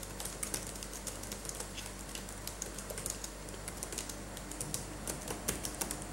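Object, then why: Plastic laptop keyboard keys. Gloved fingertips tap the plastic keys of a black laptop keyboard, then type with both hands, producing a steady run of quick, light clicks with bright ticks. A constant low hum sits underneath throughout.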